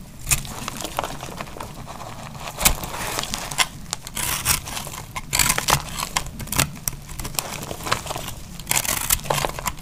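A cream-colored solid bar of dry laundry soap is held in the hand and cut into chunks with a metal utility knife blade. Dense, dry crackling and scraping fill the clip, broken by sharp, bright snaps as pieces break away. Each sound stops almost instantly, with no ring.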